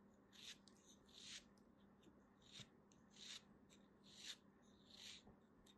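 A small, solid, beige piece of kinetic sand is held between fingers with long dark nails and sliced and scraped with a small black knife. Soft, gritty, bright rasping strokes swell and fade one after another. A faint steady low hum runs underneath.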